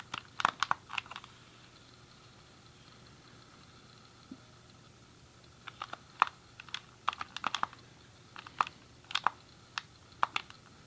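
A grey hollow plastic SNES controller is held in both hands while fingertips and thumbs click its colored face buttons and D-pad. Sharp, dry plastic clicks with a mid-toned snap around 1.2 kHz and no ring come in quick bursts during the first second, then again from about 5.7 to 10.6 seconds. A quiet gap in between holds only one faint tap, over a low, steady background hum.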